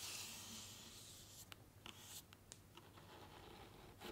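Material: Cardboard.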